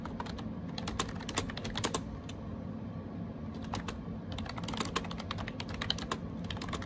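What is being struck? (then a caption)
Plastic keyboard with round keycaps. Fingertips type rapidly on a gray AJAZZ 308i wireless Bluetooth keyboard with round plastic keycaps, producing quick, bright clicky taps over a steady low hum. A flurry of keystrokes pauses briefly midway, then resumes in a dense burst to the end.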